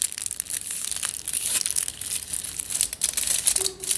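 Fingertips scratch and crinkle crumpled aluminium foil wrapped around a long tube, making a dense, continuous run of bright, crackling rustles with almost no low end. The sound stays close and busy throughout, with brief dips between bursts and a faint low tone near the end.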